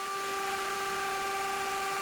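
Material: Nothing is struck.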